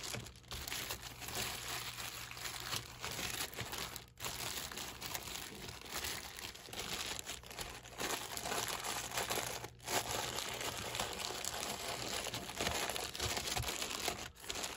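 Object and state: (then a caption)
Plastic-wrapped stack of plastic cups. A hand squeezes and rubs the thin plastic film sleeve wrapped around a tall stack of clear plastic cups. The result is dense, bright crinkling that runs almost continuously over a faint low hum, with brief dips near 4, 10 and 14.5 seconds.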